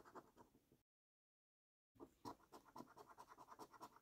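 A copper-coloured coin scratches the latex coating off a flat, thin cardboard paper scratch card in quick, uneven strokes, giving a dry, raspy scraping centred around 1 kHz. The scratching stops in a silent gap of about a second, then resumes in a steady run of short, separate strokes.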